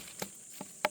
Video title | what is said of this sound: 애플 수박 수확시기 이렇게 확인해라! 99% 성공~ | 똥똥똥 똥똥똥 소리 나죠? 요런 애들은 좀 덜 익은 거예요